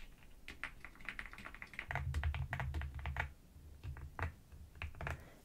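Fingertips and long nails press and tap the keys of a full-size black NuPhy Gem80 mechanical keyboard with dark plastic keycaps, resting on a white desk. A quick run of short, crisp clicks comes over a deep, low thock that swells in the middle of the burst. The typing then thins into scattered taps.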